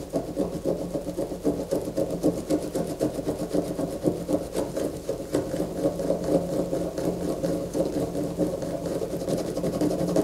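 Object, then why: Soap bar. Long fingernails scratch a solid white bar of soap lying on a paper poster while one hand holds it steady. A continuous, rapid, raspy scraping runs throughout at a fairly even level, with a loose rhythm of strokes and a dull mid-range body.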